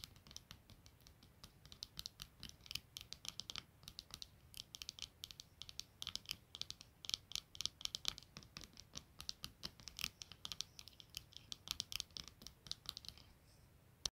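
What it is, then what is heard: Plastic-framed eyeglasses. Long nails scratch and tap over the clear lenses and rim of black plastic-framed eyeglasses lying flat on a blanket. Dozens of quiet, sharp, bright clicks and scrapes patter in irregular bursts, each dying away almost instantly.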